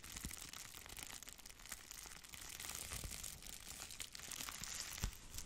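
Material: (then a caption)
Plastic. Long nails scratch a thin piece of red plastic bubble wrap while fingers crinkle it. The result is a quiet, steady stream of bright, dry crinkling and scratching with irregular small crackles throughout and a slightly sharper pop near the end.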